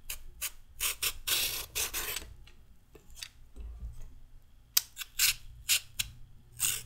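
A metal peeler blade scrapes strips off the surface of a solid raw carrot in repeated strokes. Each stroke is a short, bright, rasping scrape with very little low end. The strokes come in quick, uneven bursts with brief pauses between them.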